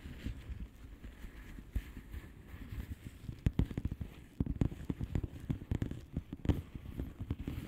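Long painted nails of both hands tap and scratch across the bubbles of a blue plastic bubble wrap mailer lying flat. Soft, dull, low thuds and quick taps come in an irregular stream over a faint scratchy rustle, growing busier and a little louder in the second half.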